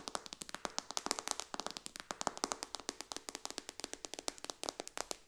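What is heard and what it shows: Long dark-painted fingernails of both hands rapidly tap the glass touchscreen of a solid, thin white iPad lying flat in a dark case on a cushion on a lap. About 45 quick, sharp, dry clicks come in an uneven stream; they are bright and crisp, with almost no low end and no ring after each tap.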